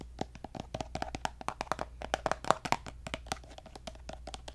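Long nails rapidly tap and scratch a pink plastic lotion bottle held upright, making quick, dry, hollow clicks around 640 Hz with bright crisp edges. The irregular taps die away almost instantly, with faint scratching between them over a low steady hum.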